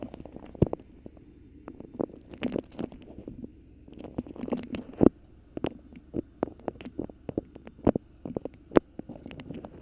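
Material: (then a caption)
Waxed fabric. Long pink nails grip, crinkle and scratch a colorful patchwork beeswax fabric food wrap bunched over a microphone. Dense, sharp crackles and scratchy rustles, with a low-mid body, pop out over a soft, steady hiss. Each snap dies away almost at once.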